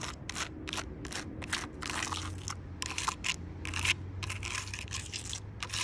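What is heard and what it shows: Long purple nails tap and scratch along the rough bark of a large, solid log. The result is a rapid series of short, dry, crackly clicks and scrapes, bright and crisp in tone, over a faint low hum.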